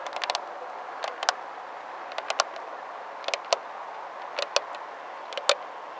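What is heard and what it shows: A person crouches by the front headlight of a blue Geely Atlas Pro SUV and rapidly taps and scratches its clear plastic (polycarbonate) lens, set over a hollow housing, with long nails and fingertips. Sharp, bright clicks come in short clusters spread across the clip, each dying away almost at once over a faint steady hiss.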